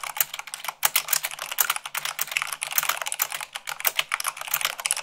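Long pink nails and fingertips type fast on a full-size mechanical keyboard with white plastic keycaps on a black frame. A rapid, continuous stream of sharp, bright plastic clicks and clacks follows, each keystroke short and dry with almost no ring and little low end.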